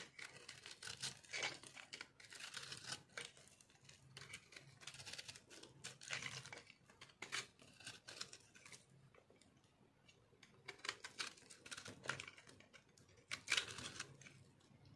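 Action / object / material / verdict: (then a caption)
scrape / soap bar scraped with a knife / soap / none. A metal knife scrapes and cuts the surface of a solid rectangular dry soap bar with orange-pink speckles, held in hand. The audio has quiet, bright, crunchy scraping strokes in irregular bursts, with short tearing and crinkling textures and a faint low hum between strokes.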